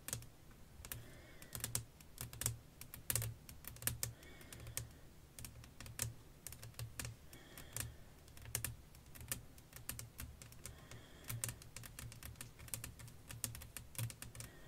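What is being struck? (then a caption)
Flat glass pane tapped with fingernails. Long nails tap and scratch with both hands across a flat, clear glass sheet laid over black lace fabric. The result is a steady, irregular patter of quick, bright clicks with short scrapes between them, each tap dying away almost at once over a soft low hum.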